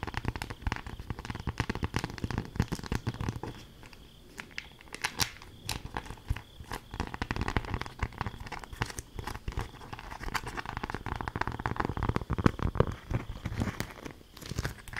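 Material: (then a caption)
Waxed cloth. A folded beeswax-coated cloth food wrap, held in both hands, is crinkled and scrunched with fingers and long nails. It gives dense, continuous crackling and crunching with a brief quieter lull about a third of the way in. The crinkles are close and mostly low-weighted, with sharp bright snaps scattered throughout.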